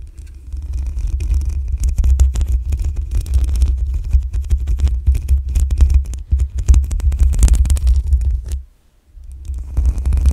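Long acrylic nails scratch the black metal mesh grille on top of a desktop condenser microphone with a hollow head, producing dense, rapid scratchy crackles over a heavy, booming low rumble. Near the end the sound drops to near silence as the hands briefly hover, then the scratching resumes.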